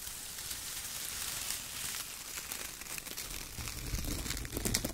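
Hands squeeze handfuls of loose brown shredded kraft paper and rub fingertips across the pile, making a dense, bright crinkling and rustling. Soft, low thumps rise beneath the crackle toward the end.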